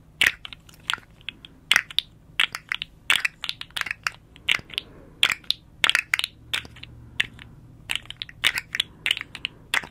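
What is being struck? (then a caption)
Segmented hard plastic slug toy. Long nails scratch and tap along the ridged segments of a small, hollow, rainbow-striped hard plastic articulated slug fidget toy held upright. The segments click in an irregular series of sharp, dry, bright clicks and crunchy scratches, mostly high-pitched with no ring, over a quiet background.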